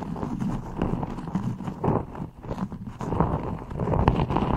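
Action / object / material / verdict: scrape / beeswax-coated cotton wrap / waxed cotton / none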